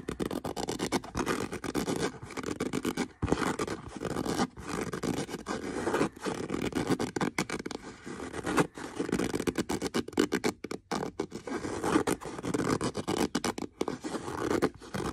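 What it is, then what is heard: Leather boot scratched with fingernails. Fingernails scratch and rub across the hollow upper of a brown leather boot with contrast stitching. The result is a dense, continuous, dry scraping texture, strongest in the low-mids, with brief quiet gaps between strokes.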